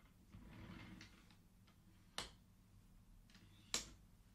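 Fingertips slide the colored wooden beads of a wooden abacus back across its metal rods so they click together. Soft, bright sliding rustles are broken by two sharp, short wooden clicks that die away almost at once.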